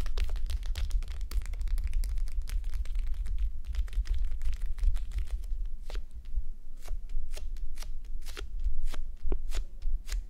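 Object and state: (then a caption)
Plastic gel bead eye mask. Fingertips and long nails scratch and rub a red, clear plastic gel bead eye mask resting on a mannequin head. Dense, quick crackling scratches and taps flicker bright over a steady low rumble, with sharper isolated clicks standing out in the second half.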